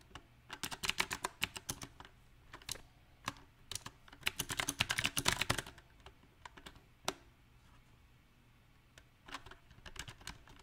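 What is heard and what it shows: Fingertips of both hands type on a small 68-key backlit mechanical keyboard with round typewriter-style plastic keycaps set on a silver metal plate. Sharp, bright clicks come in irregular bursts, densest in the middle, with one lone keystroke near seven seconds. A long quiet pause follows before a few final scattered presses.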